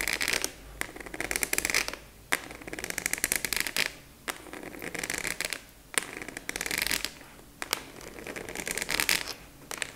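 A large translucent purple plastic expanding file folder with a black clasp, apparently empty, has its top edge tapped and scratched with long nails. Bursts of fast, bright, crackly scratching alternate with sharp, dry taps that die away almost instantly, separated by brief quieter gaps.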